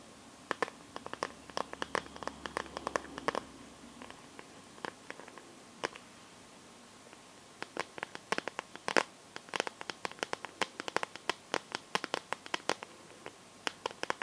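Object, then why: Smartphone in a plastic case. Long nails tap and scratch the back of a smartphone in a clear pink plastic glitter case. Many sharp, clicky taps with bright edges are scattered over the clip, with a soft scratchy rustle around the third second and denser tapping in the second half.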